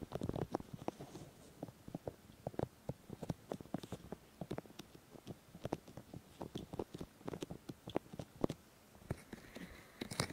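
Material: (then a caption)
Silicone. Fingertips and palms of both hands rub and cup the white silicone ears of a 3Dio Free Space binaural microphone. The result is a quiet, close, continuous stream of soft brushing and rustling, punctuated by many short, dry, muffled taps and crackles with a low, dull body.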